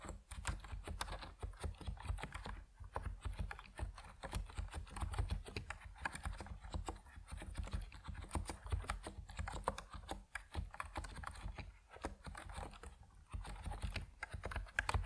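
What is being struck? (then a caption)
Mechanical keyboard with PBT plastic keycaps. Both hands type steadily on an Epomaker NiZ Plum Atom 68, a 68-key compact mechanical keyboard with white and purple PBT plastic keycaps resting on a wooden desk. The keystrokes are dense, short, dry clacks with a deep, thocky body, running continuously with brief pauses throughout.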